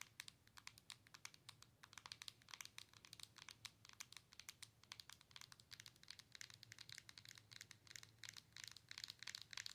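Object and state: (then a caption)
Handheld game console screen tapped with nails. Long nails tap and scratch the glass touchscreen of a hand-held Nintendo Switch console with a plastic body. Quiet, rapid, bright clicks and dry scratches run in a dense, uneven stream, each tick dying almost instantly, over a faint low hum.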